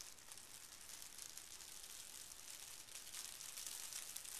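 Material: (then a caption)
Paper. Folded pink tissue paper lying on carpet is creased and smoothed with fingertips and a flat palm. It makes a soft, continuous, bright crinkling rub with a faint hiss. The sound stays quiet and even throughout, swelling slightly in the last second.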